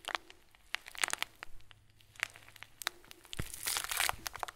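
Fingers squeeze and crush a clear plastic bag filled with tiny foam beads. The result is a run of sharp, bright crinkles and crackles, separated by quieter rustling, with a denser burst of crunching near the end.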